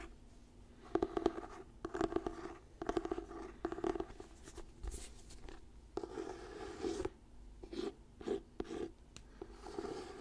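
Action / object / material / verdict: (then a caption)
scrape / paperback book with glossy cover / paper / none. Fingertips and nails scratch the glossy paper cover of an orange "Diary of a Wimpy Kid" paperback book held in both hands. The result is a quiet run of short, dry scratching and rasping bursts with a mid-range body, coming in uneven clusters with brief pauses between them.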